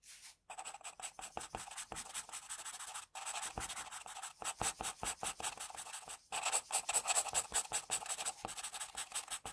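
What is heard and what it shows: An HB graphite pencil is scratched in short strokes near the chin of a pencil portrait on a flat sheet of drawing paper. The result is a quiet, dry, bright scratching, made of rapid, irregular strokes broken by brief pauses, with almost no low end.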